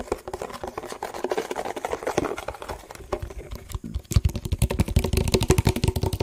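A hollow, empty yellow printed plastic food tub is held in the hands and tapped with the fingertips on its sides and bottom. Quick, soft, irregular taps give dull, hollow knocks. Around the midpoint they become louder and deeper, with a low boomy thud to each tap.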